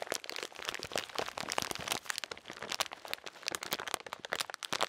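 A full plastic bag of salted peanuts is crinkled and squeezed with the fingers. Dense, bright crackling and crunching fills the clip in rapid bursts, with almost no low end and no ring after each crackle.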